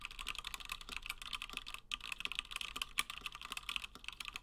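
Fingertips of both hands type continuously on a 60% plateless Gingham mechanical keyboard with Gateron Black switches and cream and blue PBT plastic keycaps. A rapid, steady stream of short, crisp clacks is heard, bright with little low end, each dying away almost instantly, with a brief pause near the middle.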